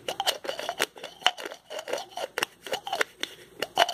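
Fingertips twist the cap of a small white plastic pill bottle with a blue label, producing a rapid, irregular series of sharp ratcheting clicks. Each click is short and dry with almost no ring, bright and crisp, and centered in the midrange.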